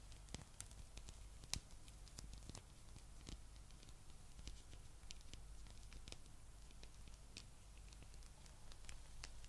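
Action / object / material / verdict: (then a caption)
scrape / rubber spiky massage ball / rubber / none. A blue, palm-sized spiky rubber massage ball is held up and scratched with long nails. Soft, quiet scratching and patter with many brief, bright clicks rises over a steady low hum.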